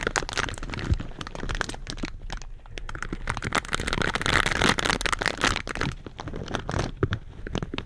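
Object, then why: Metal mesh microphone grille. Purple silicone scrubber gloves scratch the metal mesh grilles of two black slim microphones. The result is a dense, continuous stream of close crackling and crunching scrapes with bright, gritty texture, plus a few sharper cracks and low thumps where the gloves knock the grilles.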